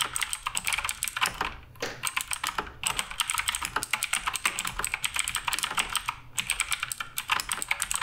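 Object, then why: Mechanical keyboard with plastic keycaps. Fingertips type continuously on the plastic keycaps of a black RGB Redragon K588 Broadsword mechanical keyboard. Rapid, bright clicks and clacks arrive in a steady stream, with short pauses near 1.7 and 6.2 seconds. Each keystroke is crisp and dies away almost instantly.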